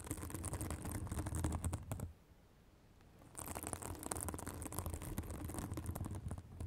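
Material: Synthetic fibre.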